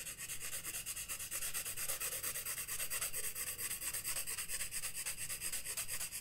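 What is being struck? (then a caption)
Graphite pencil on sketchbook paper. A graphite pencil rubs and scratches across the page of a flat spiral-bound paper sketchbook on a wooden desk while shading a moth drawing, with the other hand resting still on the page. The result is a steady run of quick, dry back-and-forth strokes with a bright, hissy grain.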